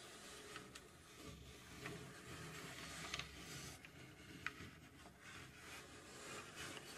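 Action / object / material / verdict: scrape / plywood puzzle box / plywood / none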